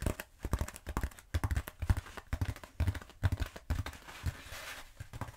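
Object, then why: Bead foam roller. A long black bead foam roller, held upright, is tapped and scratched with long nails using both hands. Quick, irregular, dull low thumps mix with brief dry scratchy rasps that stretch into a softer, hissy scrape near the end.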